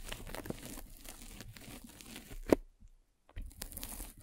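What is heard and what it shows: A metal-spiked derma roller is rolled vertically over a white polyethylene foam mesh net covering a microphone, giving a steady, close crinkling and crunching texture like soft tearing. One sharp, loud snap stands out midway, followed by a brief near-silence before the crinkly rolling resumes.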